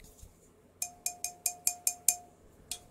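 An empty jar kept on a desk is shaken to show there is nothing inside, giving eight faint, bright clinks with short rings. The clinks come in a quick, even run, followed by a pause and then one last clink.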